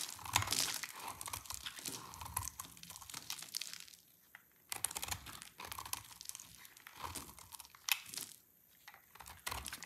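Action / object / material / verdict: scrape / soap bar cut with a blade / soap / none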